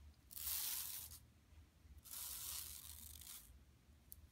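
Long nails on both hands scratch a flat, empty yellow woven plastic mesh tote bag lying on carpet. The result is two bursts of bright, hissing, crinkly scratching, the second longer than the first, with a faint low hum underneath and a brief tick near the end.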